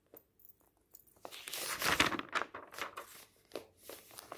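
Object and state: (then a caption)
Paper magazine pages turning. Fingertips lift and turn the thin pages of a large open paper magazine lying on a table. A few soft, separate crinkles lead into a longer, louder stretch of bright, airy rustling and crumpling as a page sweeps over. Quieter paper flutters and taps follow.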